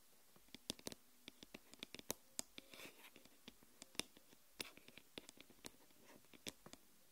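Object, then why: Aluminium smartphone back. Long nails tap and scratch across the solid aluminium back of a smartphone lying face down. Quiet, sharp, bright clicks come in an irregular rapid series, each dying away almost at once, with a brief soft scratching stroke between them.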